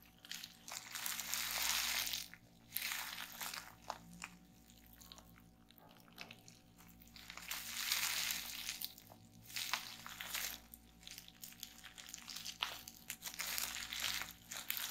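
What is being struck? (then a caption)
Plastic bubble wrap. A roll of clear plastic bubble wrap is held upright in both hands while fingers with long nails squeeze, pop and crinkle it. Bright, dense crinkling comes in swelling waves, broken by sharp, quick pops and faint taps, over a steady low hum.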